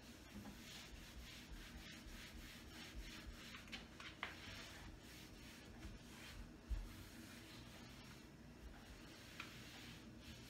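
A hand rubs and wipes a folded paper towel over a large, tall, wood-grain panel kitchen cabinet door mounted on the wall, possibly wood veneer. A steady, soft, papery rubbing hiss continues throughout, broken by a few faint bumps.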